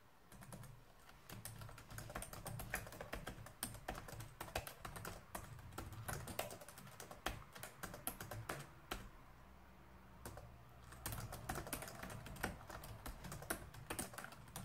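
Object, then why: Plastic laptop keyboard. Fingertips type continuously on a black plastic laptop keyboard, producing a dense stream of quick, dry key clicks over a steady low hum. The typing pauses briefly around the ten-second mark, then resumes at the same pace until the end.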